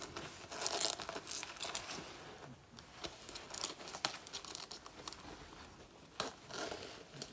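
Long natural nails scratch and claw the sleeve and chest of a black faux (PU) leather jacket, already torn, worn on the body. Dense, bright crinkling and scraping comes in quick bursts with short tearing-like rasps and little low end. Each stroke stops dead with almost no ring.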